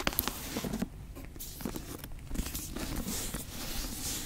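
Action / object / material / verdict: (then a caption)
tap / leather-bound book cover tapped and scratched with fingernails / leather / none. Long acrylic nails and fingertips tap and scratch the brown leather cover and gilt spine of a thick antique book, held first horizontally and then upright. Sharp, dry taps and clicks open the clip, then give way to a steady rustling scratch with a bright, hissy top over a low, soft thud.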